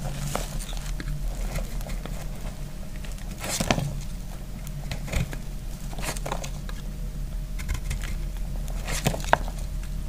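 A hand-sized, solid block of dry, speckled green soap is held in one hand and cut and scraped with a metal utility knife blade. It gives soft scraping and bright, dry crackling bursts over a low background rumble as it crumbles. Flakes fall onto a pile of soap shavings.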